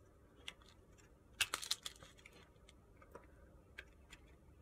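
A utility-knife blade scrapes and carves shavings from the face of a solid pale pink soap bar held in the hand. Eight quiet, bright, crisp scratching clicks are heard, with a tight cluster of the loudest cuts in the middle and single scrapes scattered before and after. Each cut is short and dry, over faint background hiss.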